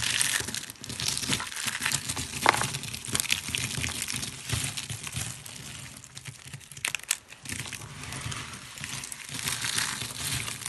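A hand with short nails squeezes, crushes and rubs a pile of thin, dry, brittle blue-green soap flakes. The result is a steady, bright, crinkly crunching with dense crackles. A few sharper snaps stand out near 2.5 and 7 seconds.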